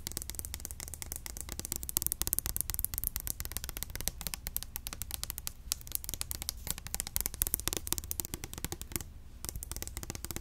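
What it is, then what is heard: Plastic hair oil bottle, liquid-filled. A small, clear orange plastic bottle of hair oil, hollow and filled with liquid, is held in the hand and tapped fast with long acrylic nails. The result is a dense, continuous stream of quick, crisp plastic clicks that die away almost instantly, over a steady low hum.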